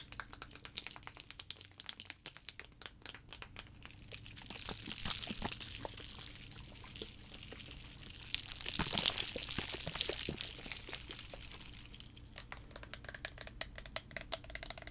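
A liquid-filled clear plastic sensory tube with blue caps is held in both hands, shaken and tapped with fingernails. It makes a dense stream of bright, crisp ticks and crinkly clicks, with the sloshing texture swelling louder around the middle before settling back into scattered taps.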